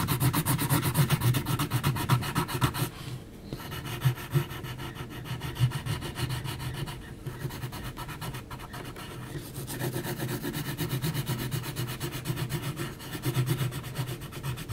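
An HB graphite pencil is scratched across a large flat sheet of heavy textured mixed-media paper in rapid hatching strokes along the jaw of a drawing. It makes a dry, rasping rub in a quick, fairly steady rhythm of about four strokes a second, with most of its weight in the low range. The strokes ease briefly around 3 seconds and again between 7 and 10 seconds before picking back up.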